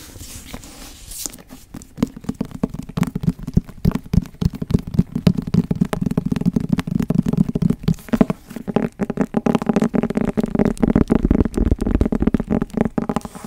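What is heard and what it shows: Long nails tap and scratch the cover of a small, closed, brown leather-covered book held upright close by. The result is a dense run of quick, dry, low-pitched taps mixed with soft scraping. After a quieter opening second, the taps come fast and keep going to the end.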